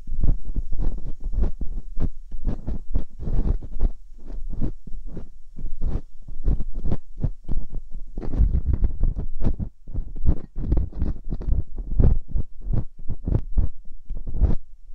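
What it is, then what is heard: Silicone ear on a binaural microphone, scratched. Metal dental picks, one in each hand with long painted nails, scratch and poke inside the ear canals of two white silicone ear replicas on a binaural microphone. The result is a dense, continuous run of short, muffled scraping and thumping bursts, heavy in low rumble with little brightness, and each burst dies away almost immediately.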